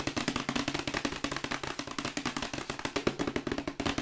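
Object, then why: Glossy printed cardboard box. A glossy printed cardboard Yeti microphone box, held upright, is tapped rapidly with long white acrylic nails. It gives a steady stream of about thirty short, dry, hollow clicks with a mid-low boxy tone and a bright edge, each dying away almost instantly.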